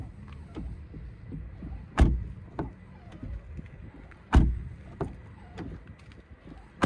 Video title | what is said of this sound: SEAT ATECA FR 4 2.0 190 KM 2023 - TEST PL 4K | let's listen to the sound of the door closing at the front, apart from the squeaking hinge, the sound is solid